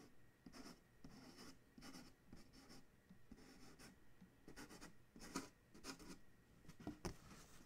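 Fingertips and nails tap and scratch on the printed side of a large, hollow Chewy corrugated cardboard shipping box. Soft, dry scratching strokes come in bursts with short, crisp taps. Each sound is quiet and stops almost at once.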